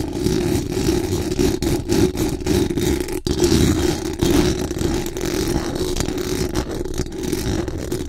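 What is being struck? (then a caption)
Metal mesh microphone grille. Very long acrylic nails scratch fast and hard across the hollow metal mesh dome grille of a large condenser microphone. The result is a dense, continuous rasping scrape with a strong hum-like tone around 360 Hz and heavy low rumble, broken by brief dips between strokes.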